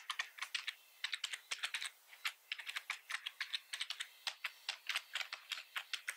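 Fingertips of both hands type continuously on a black plastic computer keyboard with red keys, producing a steady run of about 35 quick, bright plastic clicks. Each tap is short and crisp, with almost no low end and no ring between strokes.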